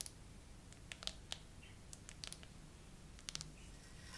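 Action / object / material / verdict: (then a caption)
tap / plastic phone case with charms / plastic / none. Long nails tap and scratch slowly across a phone in a clear glitter plastic case with raised charms and pearls. Sharp, bright clicks come in irregular bursts, each dying away almost at once. Faint scratchy swishes sit between them over a steady low hum, and the overall level stays quiet.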